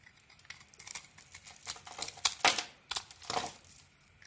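A small metal blade carves and scrapes the red coating off a rectangular solid cream soap bar held in the hand. Soft, bright, crinkly scraping strokes build to sharper cuts and peel-like rasps, then fade away.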